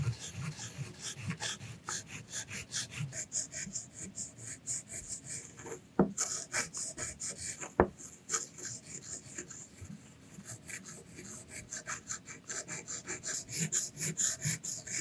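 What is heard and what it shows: A hand holds a solid dark ink stick, wrapped in tissue at the top, and rubs it in circles on a clear round glass or resin grinding dish wet with violet ink. The result is a steady, rhythmic, bright scraping and grinding, with two sharper clicks about two seconds apart midway through.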